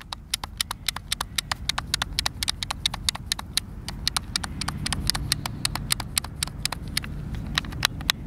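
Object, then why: Plastic game controller buttons. A white, hand-sized, hollow plastic Xbox controller is held in both hands while fingertips and thumbs press and click its buttons. Dozens of sharp, bright plastic clicks come in a quick, uneven stream, each dying away instantly, over a steady low rumble.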